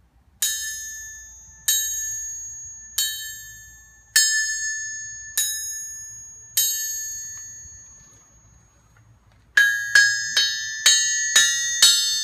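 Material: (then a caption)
Steel. A small hammer is dropped onto the face of a large, solid steel 100lb Trenton anvil on a stand and allowed to rebound in a rebound test. It strikes 12 times, six slow, evenly spaced hits and then six quicker ones. Each hit gives a bright, bell-like ringing tone near 1.6 kHz that slowly fades.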